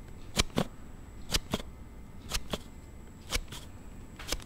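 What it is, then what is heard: Plastic sliding phone case. A thumb repeatedly slides the card panel of a palm-sized plastic sliding case for a Note7 phone open and shut. Nine sharp, bright plastic clicks with a low thump come in quick pairs, each pair about a second apart. The case makes an abnormal, unexpected sound as it snaps open and closed.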